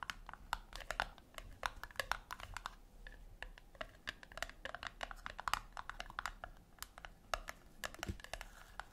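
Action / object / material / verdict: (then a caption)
tap / round metal tin / metal / none. Long acrylic nails tap and scratch the top lid of a flat, round brushed-metal tin, about 10 cm wide and likely hollow, resting on a white cloth. Quick, irregular, quiet taps make short, sharp, bright clicks that stop dead with no ring, and soft scratchy rustling fills the gaps between them.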